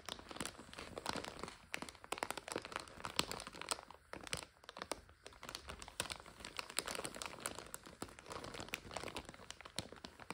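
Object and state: Plastic bag of dry egg noodles being crinkled.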